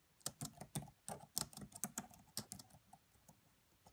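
Long manicured nails and fingertips of both hands tap rapidly on the black plastic chiclet keys of a red laptop with a hollow body. The result is quiet, bright, clicky keystrokes that come in a quick burst and then thin out toward the end.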